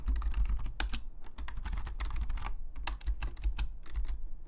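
Fingertips of both hands type rapidly on a black, full-size plastic Logitech membrane keyboard lying flat on a desk. Its hollow plastic keys give a steady stream of short, bright, hollow clacks that stop almost instantly, over a constant low rumble.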